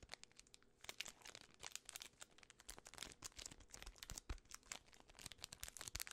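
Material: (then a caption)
Plastic film. A full Twix bar in its plastic film wrapper is crinkled and scratched by fingertips and long red nails. Dense, bright crackling crinkles and quick sharp snaps run throughout, with a few soft low thumps as the wrapper is handled.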